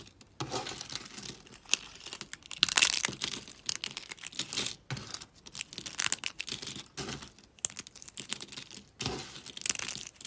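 Fingers with long pink nails grab, squeeze and crunch a pile of small dry soap shards. Dense, bright, crackly crunching comes in repeated bursts with brief quiet gaps between squeezes. The bursts are dry and short, with almost no low end and no lingering ring.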